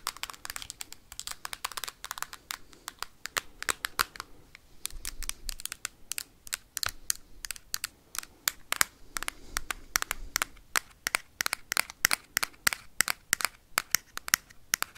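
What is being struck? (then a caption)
Hard plastic game console casing tapped with metal paperclips. A hand-held Nintendo Switch console's hard plastic back casing is tapped and scratched rapidly with metal paperclips. Dense, sharp, bright clicks come in quick irregular bursts, with soft scratchy friction between them and almost no low end. The taps stop dead with no ring.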